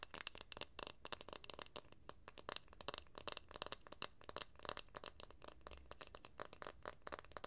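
A round, flat, light-coloured wooden lid about palm-sized, likely from a jar or candle, is held close to the mic and tapped and scratched with long acrylic nails. The result is a quiet, rapid stream of dry, bright clicks and scratchy rattles with no ring after each tap.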